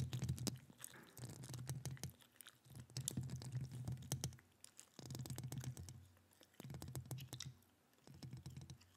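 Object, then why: Metal mesh microphone grille. Long acrylic nails rapidly scratch and tap the hollow metal mesh grille of a microphone. Bursts of deep, booming rumble alternate with brief quieter gaps. Sharp, dry clicks and scratchy taps run through each burst.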